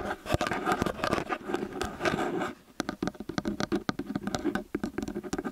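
Long nails rapidly tap and scratch both metal capsule heads of a small X/Y stereo microphone. The result is close, dry patter with scratchy rustling in the first half, a brief quieter moment, then a faster run of short, sharp taps.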